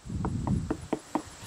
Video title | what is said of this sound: When to Harvest Watermelon: Tips for Perfectly Ripe Fruit! | this one is definitely ready sounding